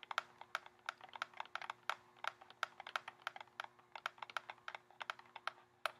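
Fingernails tap rapidly on the cardboard frame of a pink cardboard lip gloss gift box, held in both hands, with a clear plastic window and tubes inside. About 34 quick, dry, bright clicks sound like light typing, each dying away almost instantly. A faint steady hum runs underneath.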